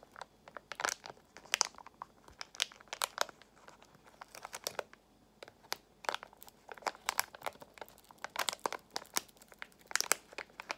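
A small, partly filled Extra gum pouch made of foil-lined plastic is crinkled and squeezed by fingers with long nails. Quick, bright crackling bursts come in irregular clusters with brief pauses, and the sound is mostly high with almost no low end.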